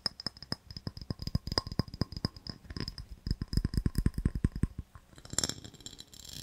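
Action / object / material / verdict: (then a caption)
tap / small ribbed glass jar / glass / none. A small, clear, empty, hollow ribbed glass jar held in the hands is tapped and scratched with fingernails on its side and base. A quick run of short, dull, low taps carries a faint high glassy tick. Near the end it gives way to a brighter, hissy scraping as the nails scratch across the ribs.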